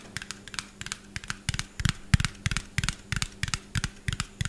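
A small, hollow white plastic bottle with a yellow cap, held in both hands above the microphone, is tapped quickly with fingernails. About 18 sharp, clicky taps come in an uneven, rapid rhythm, each with a dull low thump under a bright tick. They stop instantly with no ring.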